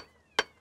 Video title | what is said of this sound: PERIGORD NOIR - Les 100 lieux qu'il faut voir - Documentaire complet | on entend le son creux, là. Ouais. Elle va casser, là. Elle va casser